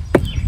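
A knock on a spot of a dead tree trunk gives a short, dull wooden thud with a mid-low tone around 360 Hz and almost no ring. The spot sounds hard and solid rather than hollow.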